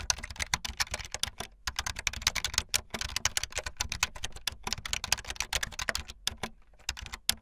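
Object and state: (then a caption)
Plastic keyboard. Fingertips with long light-blue nails type fast on a full-size keyboard with white, blue and yellow plastic keycaps and a blue backlit frame. A rapid, steady stream of bright, sharp plastic key clicks with very short decay fills the clip, broken by a couple of brief pauses.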